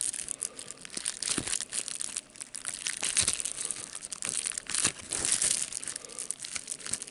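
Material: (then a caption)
Plastic. Fingertips press and pop the large air bubbles on a sheet of clear plastic bubble wrap while crinkling the sheet. Sharp, bright pops break through a steady, high, papery crinkle, with almost no low end.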